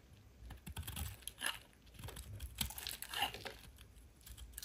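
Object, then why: Bar of soap cut with a blade. A metal utility blade carves and scrapes pieces off the faceted edges of a solid rectangular yellow soap bar held in hand, with a pile of shavings nearby. Crisp, dry scraping and crunching cuts repeat in short bursts with a bright, crackly edge and a soft low thud beneath.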